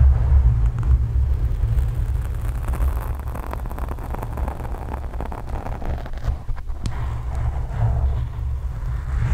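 Long acrylic nails scratch a black foam microphone windscreen while hands cup and rub the foam from different angles. The result is a steady, deep, muffled rumble with a faint scratchy texture, almost no high end, and loudness that rises and falls slightly as the rubbing changes.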